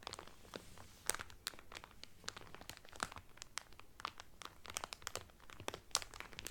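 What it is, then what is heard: Crinkling cellophane wrap on a towel. Fingertips with medium painted nails press and crinkle the loose, thin clear cellophane sealed around a folded blue terry Carnival towel lying flat on a table. Dense, bright crackles and sharp snaps come in rapid bursts over a faint low hum, each dying away almost instantly.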